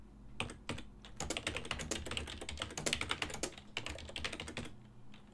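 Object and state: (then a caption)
Plastic computer keyboard being typed on. Fingertips continuously tap the plastic keys of a full-size black and silver ergonomic desktop keyboard, whose keys sit over a hollow body. The result is a rapid, uneven stream of short, dry, bright clicks centered around 2.9 kHz over a steady low hum, with brief pauses near the start and end.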